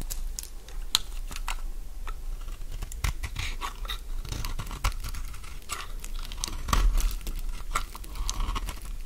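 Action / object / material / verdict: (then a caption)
scrape / bar of soap scraped by a metal blade / soap / none. A solid oval cream bar of soap held in the palm is scraped with a metal blade that shaves crunchy flakes from it. Short, dry crackling scrapes and crunches come in quick irregular bursts with bright, brittle edges over a low, steady background.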